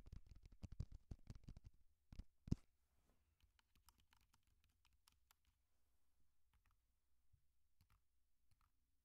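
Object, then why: Plastic handheld audio recorder. A small black Tascam DR-05 handheld audio recorder, with a plastic body and a metal-guarded mic head and held upright, is tapped and scratched on its top with medium-length painted nails and fingertips, recording itself as it is handled. Rapid, close, bassy clicking taps come in a dense burst for the first few seconds, then thin out into quieter, scattered ticks and light scratches over near silence.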